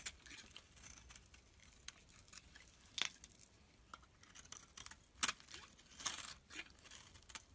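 A utility knife blade shaves thin flakes off a turquoise rectangular bar of solid soap held in the hand. Quiet, bright, crisp scraping and crackling strokes come in short bursts, with a few sharper, louder cuts standing out among softer shaving sounds.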